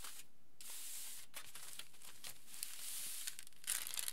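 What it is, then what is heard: Aluminium foil sheet being rubbed. Fingertips and palms rub and scratch a large, flattened sheet of aluminium foil lying flat. The result is a quiet, steady, bright crinkling hiss broken by sharper scratchy bursts, growing louder and busier near the end.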